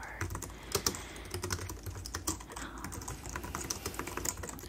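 Fingertips with medium-length dark painted nails type rapid taps on the keys of a white plastic computer keyboard resting on a desk. The quick, bright clicks stop almost instantly, over a steady low hum.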